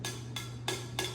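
A metal can is tapped with a straw four times. Each tap gives a short, bright, ringing tick, with a low steady hum underneath.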